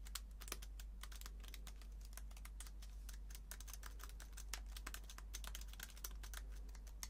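A slim white keyboard is held in one hand while the fingertips of the other hand type rapidly on its low-profile plastic keys. The result is a fast, uneven stream of light, bright clicks over a steady low hum.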